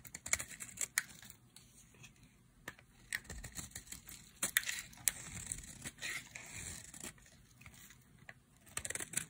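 A solid pink bar of dry soap is held in the hand and scraped with a utility knife blade into thin strips. The scraping makes dry, bright crackling and tearing sounds in uneven bursts, with sharp clicks breaking through a soft, crinkly rasp.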